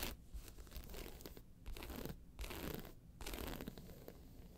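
Long pointed nails of one hand scratch the round face of a round, hollow, tan croc-embossed faux leather handbag lying on its side with its handles visible, while the hand steadies the bag at the start. Dry, rasping scratch strokes come in bursts separated by brief silent pauses, over a low, hollow rumble.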